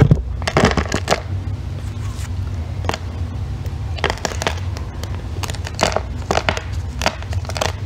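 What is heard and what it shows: A solid green bar of soap, gripped by long red nails, is scraped with a thin metal tool, shaving off crumbly pieces. Repeated short, crisp scraping and crackling bursts sound over a steady low hum.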